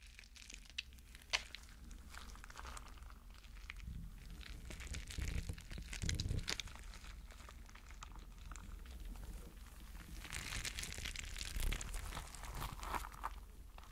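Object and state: Rubber mesh stress ball with gel beads.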